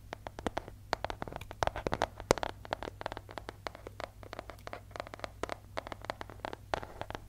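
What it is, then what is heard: Paper envelope. Fingernails scratch and tap along the surface of a yellow paper envelope with a striped border, held in both hands. A rapid, irregular series of short, crisp papery taps and scratches sounds over a quiet, steady low hum.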